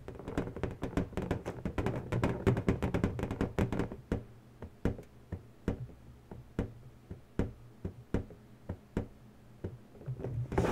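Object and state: Latex balloon tapped with nails.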